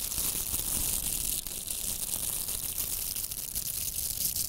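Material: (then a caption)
Plastic. Two pink hollow velcro hair rollers, each a plastic mesh core covered in nylon hook bristles, are held together and rubbed and scratched with long manicured nails and fingertips. The result is a steady, dense, bright crackling scratch that fills the whole clip at an even level, with a faint low rumble underneath.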